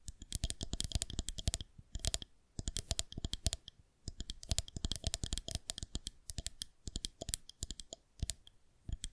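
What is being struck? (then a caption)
Plastic rolling pin. Long painted nails tap and scratch along a long, solid white plastic fondant rolling pin held horizontally in both hands. Rapid bursts of sharp, dry, bright clicks come in quick clusters with a soft low knock under each, separated by brief pauses. Each tap dies away almost instantly.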